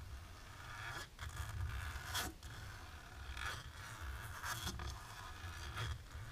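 Long natural pink nails scratch across a thin, dark embossed plastic film resting on a table. Repeated dry, scratchy strokes rasp over the textured surface with bright edges, over a steady low rumble.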